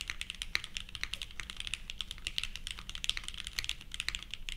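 Continuous two-handed fingertip typing on a purple 60% plateless Leviatán r0 mechanical keyboard with GatX r1 and ABS plastic keycaps produces a steady, rapid stream of short, dry clacks. The keystrokes sound bright and plasticky, centered around 2.2 kHz with high sparkle, and each dies away almost at once over a faint low hum.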